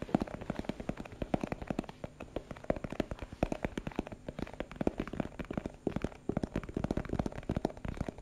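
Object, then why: Small plastic box. Fingertips and nails tap rapidly on a small hollow translucent plastic box with a purple printed label. The taps are quick, dull and hollow-sounding, with little brightness, and each stops almost at once. They run steadily through the clip in an uneven rhythm.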